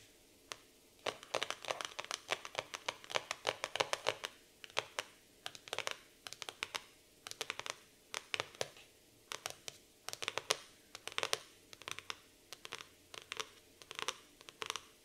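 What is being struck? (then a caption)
Laminated cardboard notebook cover. Long nails tap and scratch the laminated cardboard cover of a black floral hardcover notebook lying flat on a table. Quick bursts of sharp, bright clicks and short scratches come in clusters with brief pauses between them. Each click dies away almost instantly, with no low-end body.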